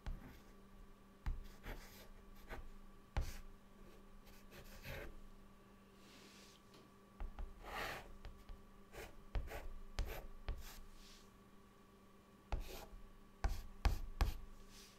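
A white chalk stick held in the fingertips draws a cartoon on a flat, solid, dark chalkboard. Quiet, irregular scratches and sharp taps come in short strokes, with a few longer scraping sweeps, over a faint steady low hum.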